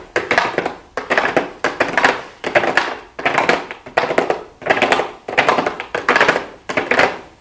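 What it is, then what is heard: Cardboard makeup box. Long blue acrylic nails tap rapidly on a small, hollow pink cardboard makeup box with a clear plastic window. The taps come in repeated bursts of quick, light clicks with a hollow midrange knock and bright edges, each burst fading before the next begins.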